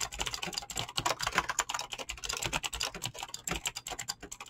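Fingertips type quickly on a mechanical keyboard with clicky green switches and PBT plastic keycaps. The result is a rapid, uneven stream of bright, sharp clicks that stop almost instantly, with little low end.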